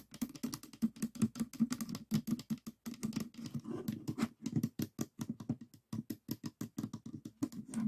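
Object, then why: Plastic 3x3 puzzle cube. Fingertips tap rapidly on the top face of a small stickerless plastic 3x3 Rubik's cube with a hollow mechanism, resting on a table. Dense, quick, dry clicks with a low-mid hollow body and a little high tick follow one another in an irregular run, each dying away almost at once.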